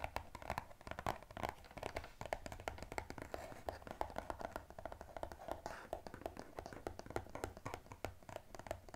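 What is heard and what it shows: A small blue-and-white striped glossy cardboard box from an EOS set is held in both hands while fingertips and nails tap quickly on its top and sides. The result is a fast, steady stream of short, dry, hollow taps with a midrange tone around 850 Hz, a faint low rumble underneath, and no talking.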